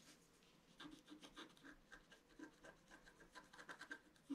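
A pointed wooden stylus scratches a flat A4-size scratch-art card, its black coating over a colored foil layer, lying on a table. A quick series of short, quiet, dry scratching strokes comes through, each a brief papery rasp with a soft low-mid body and a little brightness. The strokes stop almost instantly with no ring.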